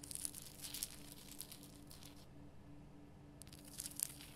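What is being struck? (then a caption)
Rock salt lamp. Long nails rapidly tap and scratch the solid rough surface of a large, lit pink Himalayan rock salt lamp. The sound is dry, bright crackling and clicking that comes in busy bursts at the start and end, with a quieter stretch in the middle. A faint steady low hum runs underneath throughout.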